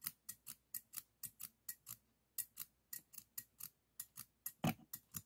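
Stainless steel thinning shears, solid steel and held upright in the fingers, are snipped open and closed 21 times in a quick, uneven rhythm. Each snip is a short, crisp metallic click at the pivot with a bright, high edge that dies away almost at once, leaving quiet gaps between snips.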